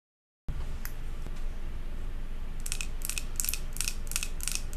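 Long acrylic nails tap and scratch the glass sides of a large glass jar candle filled with solid white wax and topped with a silver metal lid. Bright, crisp clicks come in quick bursts over a steady low rumble, growing denser and faster toward the end.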